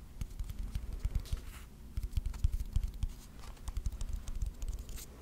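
Fingertips and nails tap and scratch the sides of a small rectangular wooden box with visible grain, likely hollow, held in the hands. Quick, irregular low thumps, roughly three or four per second, come with faint bright scratchy ticks, each tap dying away almost at once.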